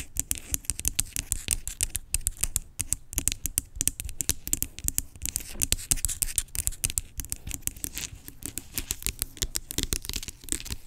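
Long pink acrylic nails tap and scratch the label and body of a large, hollow, blue-labelled plastic skincare pump bottle lying on its side. Rapid, dry clicks and bright scratchy rasps come in an almost continuous stream, each with a hollow low thump and no ring.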